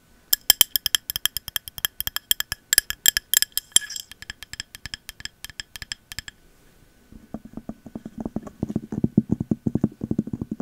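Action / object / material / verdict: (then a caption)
tap / glass candle jar with cork lid / glass, cork / none. Long metal nail caps tap quickly on a clear glass candle jar with a cork lid and a Magic Berries label. For the first six seconds the taps on the glass give sharp, bright clicks with a short ringing edge. After a brief pause, taps on the cork lid sound duller and lower, with soft, dense knocks.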